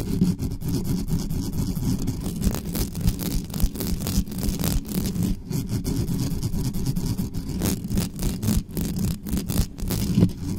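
Long nails of both hands scratch and rub fast and hard on the mesh grille of a dark metal USB condenser desktop microphone, with no cover on it. A dense, continuous low rumbling scrape is heard, with many short bright scratching bursts running through it.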